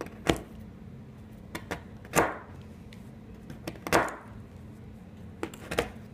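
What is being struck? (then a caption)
Chalk stick cut with a steel kitchen knife. A solid green blackboard chalk stick, with pink chalk pieces nearby on a white surface, is chopped into pieces with the blade of a large steel kitchen knife held by hand. Ten sharp, dry cracks come at irregular intervals, some followed by a short crumbly, gritty tail. A faint steady low hum sits underneath.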